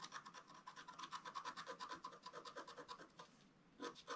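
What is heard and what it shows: A wooden stylus scratches a flat, black-coated scratch art page about A4 in size with dense, fast strokes. The result is a quick run of dry, bright rasping scrapes with a steady mid-pitched core, a brief pause near the end, then a few final strokes.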